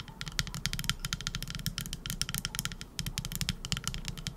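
Long acrylic nails tap and scratch a hand-sized, solid teal epoxy resin scallop-shaped trinket dish. The result is a rapid, uneven stream of sharp, bright clicks and ticks with very short decay, over a steady low hum.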